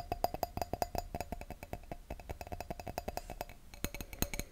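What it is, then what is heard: Wine glass. Fingertips and nails tap an empty clear wine glass bowl held over a microphone, making a fast, uneven run of short, dry clicks. Each tap carries a faint glassy tone near 710 Hz with a muffled low thump, and it dies almost instantly. Near the end the taps grow louder and brighter, and the tone drops slightly lower.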